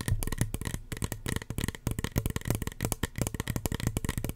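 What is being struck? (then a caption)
Small plastic spray bottle. A small, hollow red plastic spray bottle with a white plastic cap is tapped rapidly with long fingernails. The result is a quick, uneven string of short, dull, hollow knocks with a low body and light clicky edges, each dying away almost at once.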